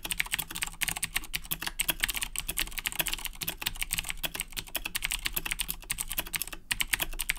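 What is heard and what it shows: Fingertips type rapidly on the plastic keycaps of a black Razer BlackWidow 2010 Edition mechanical keyboard with Cherry MX Blue switches. The result is a fast, dense stream of sharp, bright clicks that each stop almost instantly, over a faint steady low hum.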